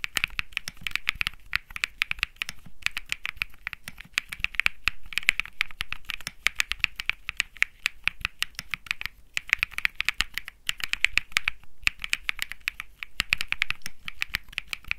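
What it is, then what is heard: Mechanical keyboard being typed on. Fingertips type steadily on a compact Think 6.5 mechanical keyboard with Bsun Lollipop switches, an aluminum case, a PC plate and plastic keycaps. The rapid keystrokes are short, crisp clacks with almost no ring, bright and centred around 2 kHz over a light low thud, with brief pauses between bursts.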